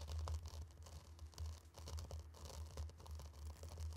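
Two round wooden sticks are dragged through a tray of loose, dry, fine pink and orange sand, scraping and swishing the grains. A quiet, continuous gritty rasp with faint bright crackle rises and falls over a steady low hum.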